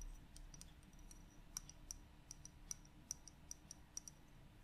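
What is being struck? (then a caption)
Small glass bottle with plastic cap. Long yellow-painted nails tap a small 75 ml glass bottle of gloss varnish, held in both hands, on both the glass and its white ribbed plastic screw cap; the bottle has a yellow-and-black paper label and appears partly full of clear liquid. Quiet, sharp, bright clicks land in an irregular rhythm, each dying away almost instantly over a soft low background hum.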